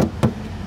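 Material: Steel.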